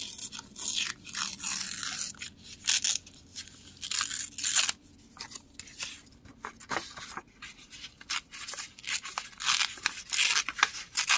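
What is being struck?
Thin printed book page paper.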